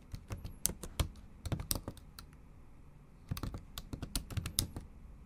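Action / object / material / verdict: tap / laptop keyboard with plastic keys / plastic / none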